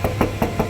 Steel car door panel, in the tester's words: damping ചെയ്യാത്ത ഒരു സ്ഥലത്ത് കൊട്ടുമ്പോൾ എന്താ ഈ ഒരു ഒച്ച